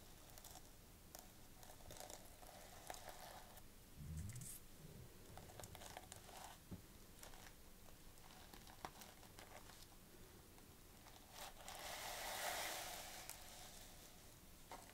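Long painted fingernails stroke and scratch a small, flat gold sequin clutch pouch resting on a white cloth, while the other hand, wearing bangles, rests beside it. Quiet, crinkly scratching and irregular dry ticks run throughout, with a soft low bump near four seconds and a brighter, hissing swell around twelve to thirteen seconds.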